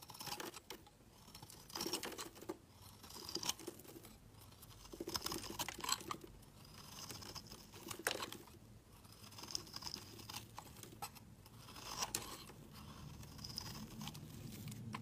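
A solid, hand-sized, light green soap bar held in the hand is shaved with a utility knife blade into curled flakes. Crisp, bright scraping strokes repeat in quick succession, each a short rasp that fades almost at once, over a soft low hum.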